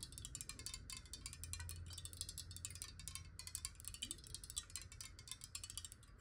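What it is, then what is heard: Glass water bottle tapped with fingernails. Long acrylic nails tap rapidly on a clear, square, hollow glass bottle with some water inside, held in the hand. The result is a quick, steady stream of bright, clicky ticks that die away almost instantly, over a faint low hum.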